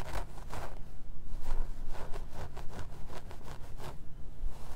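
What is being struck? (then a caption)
Plastic mannequin head with synthetic wig. Fingertips with short nails scratch the hairline and scalp of a plastic/vinyl mannequin head wearing a black synthetic wig, lying on red satin. Soft, rapid scratching strokes come in repeated bursts of bright, papery rustle over a steady low hum.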